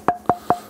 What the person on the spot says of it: Das hört man schon, das ist nämlich knochenhartes Eichenholz.